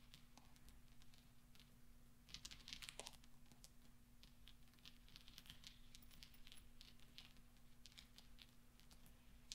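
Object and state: Steel pachinko balls.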